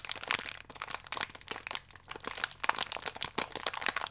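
A thin, crinkly plastic wrapper holding a single biscuit is held flat in both hands while fingertips and nails rub and press the film. Dense, bright crinkling and sharp little crackles come in quick, uneven bursts throughout, with almost no low end and no ring after each crackle.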